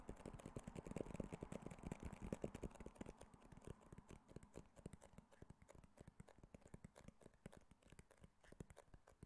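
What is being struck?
Small rigid cardboard phone box.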